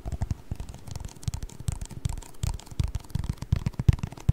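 A small, hollow, empty yellow plastic cup with a white rim is held in both hands while fingertips tap and scratch its ribbed wall. The result is a quick, irregular stream of soft, dull low thumps mixed with faint dry scratching. Each tap dies away almost at once.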